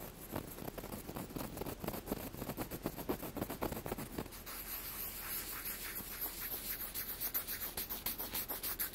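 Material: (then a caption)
Wood. A wooden block is tapped and scratched quickly, giving a rapid run of short, dry taps and scrapes at about three to four per second. In the first half the strokes are fuller with more low-mid body; after about four and a half seconds they turn lighter and brighter, becoming a thin, hissy scratching.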